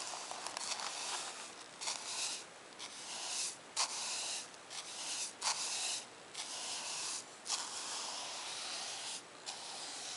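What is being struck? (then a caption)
Paper notebook page. A bristle paint brush is swept back and forth across the flat page of a spiral-bound lined paper notebook lying on a wooden table. It makes a series of soft, airy, bright brushing strokes, broken by short quiet gaps, with a steady hiss and no low rumble.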